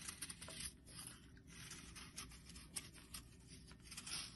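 A flattened bar of solid yellow soap, held in the hand, is scraped with a metal blade. The result is a soft, dry, crackly scraping with many small, bright bursts of shaving over a low rumble.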